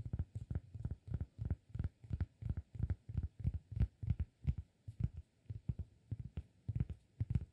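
Fingertips tap the face of a round, flat, solid cork disk held in one hand. A steady run of quick, soft, dull thuds follows, each low around 90 Hz and dying away almost at once, with no bright ring.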